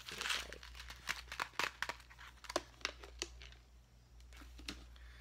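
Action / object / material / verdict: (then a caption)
shake / clear plastic blister pack with small gems / plastic / none. A small clear plastic blister pack full of pink craft gems is held in one hand and crinkled and pressed with the fingers. It makes bright, dry crinkling with a run of sharp, quick clicks and crackles over a faint steady low hum.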